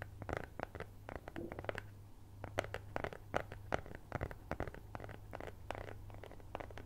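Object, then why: Thin cardboard cutout. A flat cat-head-shaped cutout of brown kraft cardboard, possibly thin fibreboard, is held close to the mic with both hands and rapidly scratched and tapped with long nails. Dense, dry, papery scratches and clicks come in quick irregular bursts, each dying away almost instantly. A steady low hum sits underneath throughout.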